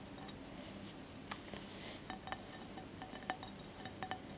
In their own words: ASMR tapping and scratching on glass candle holder